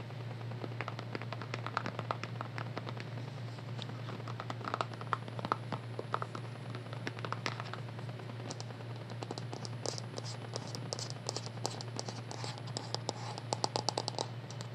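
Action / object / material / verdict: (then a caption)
tap / squeezable plastic skincare tube / plastic / none. A green, squeezable plastic skincare tube, hollow and partly full, is held in both hands and tapped and scratched with long nails. Rapid, irregular clicks and dry, bright scratching crackle across the clip, with denser bursts toward the end, over a steady low hum.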